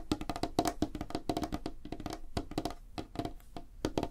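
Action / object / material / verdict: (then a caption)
tap / light wooden tabletop / wood / none. Fingertips and nails tap rapidly on a flat, solid, light wooden tabletop. The result is a quick, irregular run of short, dry knocks with a hollow woody tone around 300 Hz and little ring after each tap.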